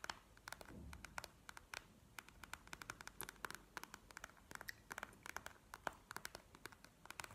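Long fingernails of both hands tap a bead-filled plastic gel eye mask lying flat on a table. Dozens of quiet, sharp clicks come in irregular clusters; each is bright and dies almost instantly, with a faint crinkle and a low hum underneath.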